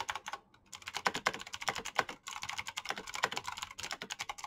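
Rapid fingertip typing on a black Razer mechanical keyboard with plastic keycaps and clicky switches produces a dense stream of sharp, bright clicks with very little low end. Each click dies away almost instantly, and the typing pauses briefly twice before resuming at a steady fast pace.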